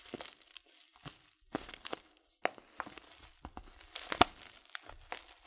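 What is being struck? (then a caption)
Filled paper tea bag packet. A filled Teekanne paper tea packet of loose leaf is squeezed and crinkled with fingertips, giving soft, dry crinkling and crunching rustles. The bursts come in uneven clusters about a dozen times, with brief sharper crackles, bright papery hiss and almost no low end.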